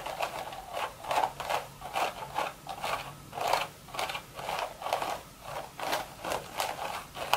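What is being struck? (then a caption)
Woven straw hat. Long red nails rub and scratch along the hollow crown of a beige woven straw hat. Dry, crackly scraping strokes rise and fall in quick, bright bursts, with a papery rustle centered in the upper mids.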